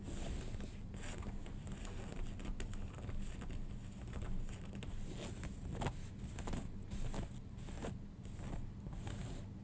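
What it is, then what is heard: Denim jeans being scratched. Fingernails scratch the waistband, its leather-like label, and the fabric of light-blue cotton denim jeans lying flat, after the jeans are briefly rearranged near the start. The result is a steady, soft, rough scratching texture with a low rumbly body and faint bright hiss, broken by quick brushing strokes throughout.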